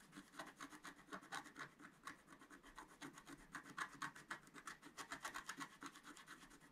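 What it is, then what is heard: Scratch-art paper being scratched. A pointed wooden stylus scratches quick strokes near the top of a thin, flat, solid, black wax-coated scratch-art paper sheet held flat by one hand. The result is a rapid, uneven series of short, dry, raspy scrapes, centred around 1.7 kHz with bright hiss. The sound is quiet, with very little low end.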